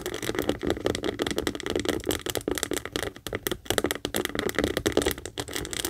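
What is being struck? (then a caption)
Saffiano leather handbag tapped and scratched with acrylic nails. Long acrylic nails rapidly tap and scratch the top edge and front leather panel of a medium pink Kate Spade saffiano leather handbag standing hollow on a table. The result is a dense stream of short, dry clicks and scrapes with a papery crackle, a hollow mid-range body and a bright, gritty edge.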